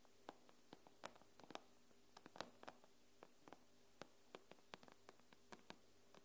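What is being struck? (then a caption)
Glass tablet touchscreen. Long nails tap on the glass screen of an iPad, making about 22 quick, irregular taps. Each tap is a short, dry click with a bright edge that dies away almost instantly. The taps are soft and sit over a faint, steady low hum.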